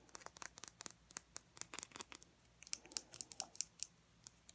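Long fingernails tap a small, full glass nail polish bottle with purple glitter polish and a black plastic cap, held up close. About twenty sharp, bright clicks come in quick irregular bursts with a short pause in the middle. Each tick is crisp and dies away instantly, with almost no low end.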